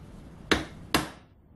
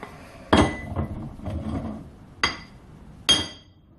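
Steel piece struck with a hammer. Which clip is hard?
The second.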